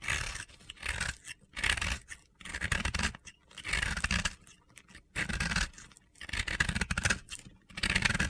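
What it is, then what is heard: Dry crumbly soap scraped to powder. A utility knife blade carves and scrapes a small, solid pink and yellow chunk of dry, crumbly, powdery soap held in the fingers, grinding it into powder. Repeated bursts of gritty, crunchy scraping come with a bright hiss and soft low rumbles, separated by brief quiet gaps.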